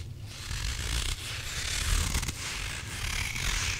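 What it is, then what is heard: Squishy rubber toy, crunchy when scratched. A hand-sized grey rubber squishy possum toy with a soft, filled body is squeezed and scratched with fingertips and nails. It gives a continuous crunchy, gritty rasp full of bright, hissy texture over a low rumble, with a few brief surges in loudness.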